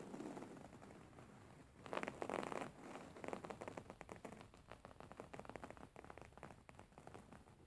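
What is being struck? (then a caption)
Linen fabric pillow. An embroidered beige linen pillow, a stitched fabric cushion, is scratched with nails and tapped with a fingertip. The result is soft, dry, crackly scratching with quick, irregular taps, including a louder rough scrape burst about two seconds in. Quieter rustling scratches follow.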